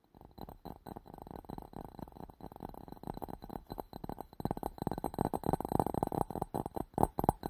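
A clear, hollow, empty glass bowl with a green rim is held around the microphone and tapped quickly with fingertips and nails. The result is a fast, uneven stream of short, muffled taps with a hollow midrange tone around 790 Hz. They grow denser and louder toward the end, and each tap dies away almost instantly.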